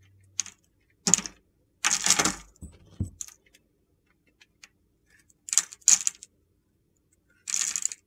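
A utility knife shaves scored cubes off the edge of a solid green and red bar of soap, giving crumbly cutting. Short bursts of bright, gritty crunching are heard, separated by silent pauses.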